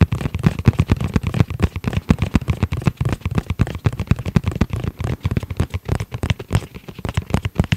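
Fingertips tap rapidly on both faces of a rigid, hollow, tablet-sized hard-shell EVA zip pouch with a dark gray textile surface and a red edge, close to the mic. Roughly fifty short, dull, low thuds land at about four per second in an uneven rhythm, each dying away almost instantly with no ring.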